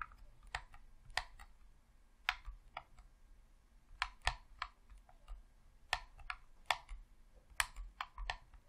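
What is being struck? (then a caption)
Plastic game controller. Thumbs and fingertips click the buttons and D-pad of a hollow red plastic Xbox controller, producing 14 sharp, dry clicks in an irregular rhythm over a faint low rumble. Each click is quiet, bright and snappy, dying away almost instantly with no ring.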